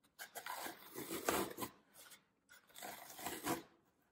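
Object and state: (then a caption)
Floral foam block being crushed. Fingertips and thumbs press and crush the surface of a solid green floral foam brick resting on a table. Two bursts of dry, crackling crunching are heard, broadband with a bright, rasping edge, separated by a short pause and each fading quickly.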